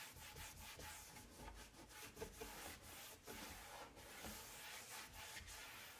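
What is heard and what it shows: A paper towel wipes and rubs across a large, flat, dark brown wood-grain laminate kitchen cabinet door, a solid panel, while one hand holds the door by its edge. The sound is a continuous, bright, papery swishing and scrubbing with uneven strokes and no distinct impacts.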